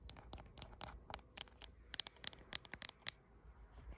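Long nails tap and scratch the glass back of a bare blue iPhone with no case, held in both hands while it records itself in a mirror. About fifteen quick, bright clicks sound alongside scratchy scraping, each dying away almost instantly, over a faint steady high whine.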